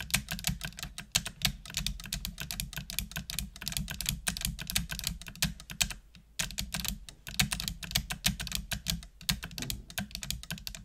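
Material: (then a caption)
Plastic. Long nails type continuously on a full-size black plastic computer keyboard with hollow plastic keys, producing rapid, bright, clacky clicks with a brief pause about two-thirds of the way through. A steady low hum sits underneath the tapping.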